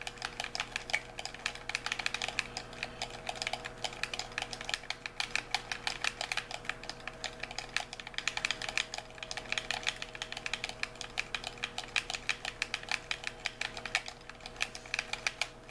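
A white, hollow plastic handheld game controller is held in both hands while thumbs and fingertips rapidly press and click its buttons and sticks. The result is a continuous stream of sharp, bright plastic clicks with almost no ring, over a faint steady low hum.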